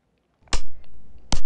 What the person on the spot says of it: If we tap a bit harder, we get a louder sound.